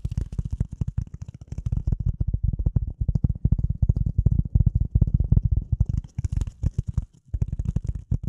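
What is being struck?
Piece of polyethylene foam.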